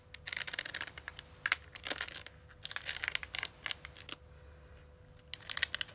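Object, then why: Metal makeup palette case tapped and scratched with long nails. A flat, hand-sized red metallic eyeshadow palette case, Urban Decay Naked Heat style, hollow and closed, is tapped and scratched with long manicured acrylic nails. Dense bursts of bright, crisp clicks and scraping come in uneven clusters with short pauses, and a faint steady hum runs underneath.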